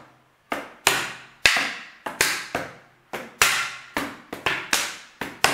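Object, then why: Large plastic water bottle. A large, clear, hollow and apparently empty plastic water bottle is held sideways and tapped with the fingertips in an uneven rhythm. Each tap is a sharp, bright, hollow knock with a short ring that quickly decays, leaving little low end.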